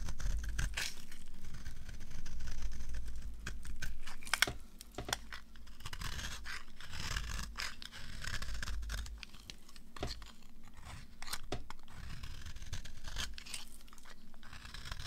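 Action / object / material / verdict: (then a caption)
scrape / bar of soap cut with a knife blade / soap / none. A dry, solid green bar of soap held in the hand has its edge scraped and cut with a utility knife blade, sending crumbly shavings falling. Quick, uneven scratchy scrapes and crisp tearing crackles repeat over a low background rumble.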